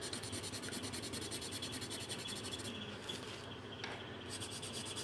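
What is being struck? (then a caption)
Coloured pencil on a paper sheet. A pink pencil or marker is rubbed back and forth across a thin paper colouring sheet resting on a table while colouring. The result is a steady, quiet, scratchy rubbing with rapid, bright, pulsing strokes and a soft low hum underneath, pausing briefly near the end before the strokes resume.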